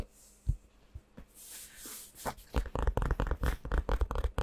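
A medium-soft padded DXRacer gaming-chair neck pillow with a black and purple faux-leather or fabric cover is held up in both hands and scratched and tapped with fingertips and nails. A few faint scratchy, tearing-like rubs give way to a quick, uneven run of dull, low thumping taps.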